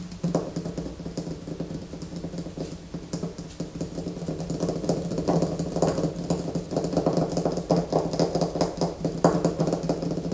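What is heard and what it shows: Long fingernails scratch the surface of a solid white bar of soap held in both hands over a poster. The scratching is rapid, uneven and continuous, with a low steady hum beneath the dry, brief strokes, and it grows slightly louder toward the end.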